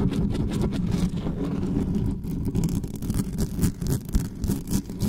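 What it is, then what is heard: Metal condenser microphone grille being scratched. Hands grip and rub the uncovered grille head of a dark metal USB condenser desktop microphone while long nails scratch across its top. The result is a fast, continuous, heavy scratching and rubbing with a deep, boomy low rumble. Rough bursts swell and dip throughout, with very little high-end content.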